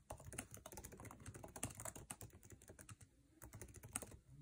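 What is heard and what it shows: Fingertips type fast on a MacBook Air keyboard with plastic keycaps set in an aluminum chassis. The clip is a dense run of quick, dry key clicks with short taps and a low thump under each press, easing briefly near the three-second mark before picking back up.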